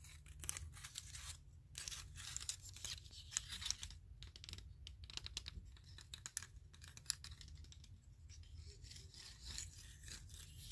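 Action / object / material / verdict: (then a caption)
scrape / small wooden clothespins with metal springs / wood / none. Fingertips rub and scratch along the wooden edges of a bundle of small wooden clothespins with metal springs. Bright, dry, papery rasps come in dense bursts, with no ring after each stroke, over a steady low hum throughout.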